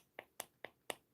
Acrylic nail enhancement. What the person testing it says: it's not quite ready yet see how it sounds